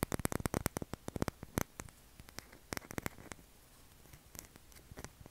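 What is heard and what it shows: A solid, palm-sized, light-blue Dove soap bar held in both hands is tapped and scratched with short fingernails, sending soap shavings onto the table. The result is a quick run of dry, clicky taps and short scratchy strokes with bright edges, dense at first and then sparser over a quiet background.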